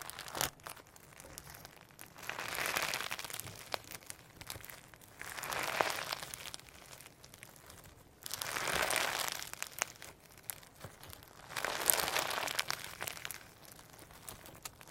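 Firm slime with holographic sequins and pearl beads is held up in the hands, pinched, pressed and stretched with the fingertips. Bursts of bright, crinkly crackling rise and fade in four waves, with quieter sticky clicks and pops between them.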